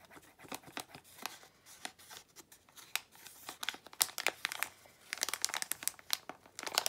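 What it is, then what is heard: Plastic foil bag crinkled and torn open. A small plastic foil blind bag of Disney d-Licious figures is crinkled and pulled open by hand, with long nails scraping across the foil. Quiet, bright crackles and crisp rustles come in quick uneven bursts, with no low end and no ringing after each sound. The crinkling grows sharper and denser toward the end.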